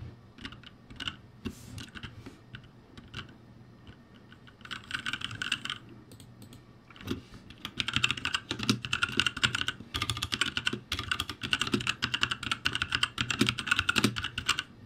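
Fingertips type on a ROCCAT G65, a full-size backlit RGB mechanical gaming keyboard with plastic keycaps on a metal-look plate and hollow switch housings. Scattered single keystrokes and a short flurry give way, from about seven seconds on, to rapid continuous typing. Each key gives a bright, hollow plastic clack centered near 2.8 kHz with a soft low thud underneath and almost no ring.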